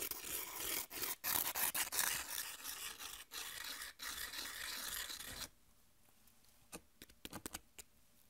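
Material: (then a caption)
Corn chip. Long nails scratch thin, dry, triangular corn tortilla chips and the chips are rubbed against each other, making a dense, bright, crackly scraping rustle for about five and a half seconds. It then drops to near silence, broken by a few sharp, brief ticks.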